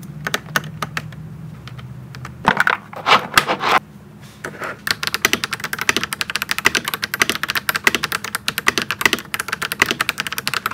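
A pink and white gasket-mount mechanical keyboard with plastic keycaps sits on a desk and is typed on with fingertips. Quick, bright clicky keystrokes start sparse, then pause while a few louder handling bumps are heard. The typing resumes as a dense, rapid run of sharp, short clacks.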